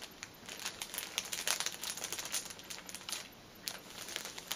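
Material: Plastic film.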